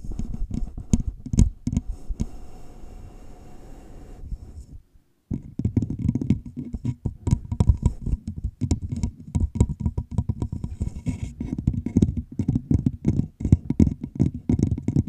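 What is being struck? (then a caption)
Plastic drink bottle. A large, clear, empty plastic drink bottle with a red label and its bottom cut off, sleeved over a microphone's fuzzy windscreen, is tapped and scratched along its sides with long pink-painted nails. Rapid, hollow, low thumps and scratchy patter fill the clip, broken by a brief silent pause just before the five-second mark before the dense tapping resumes.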